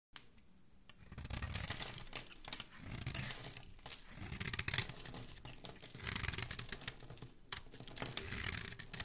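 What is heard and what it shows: A palm-sized solid white rectangular bar of soap is held in one hand and scraped along its surface with a thin black blade tool, shaving off flakes. The result is a steady run of dry, bright scraping and crisp crinkly shaving sounds in quick overlapping strokes that rise and fall in loudness, with a faint low rumble underneath.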